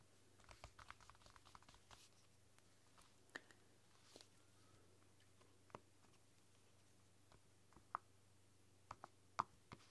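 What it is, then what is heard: Silicone roll-up keyboard typing. Fingertips and long nails type on the soft pink keys of a flexible, translucent silicone roll-up keyboard. The result is a quiet run of soft, muffled taps with a few sharper clicks, mostly clustered early and late, with a low steady hum underneath. There is a brief pause partway through as the hands lift away.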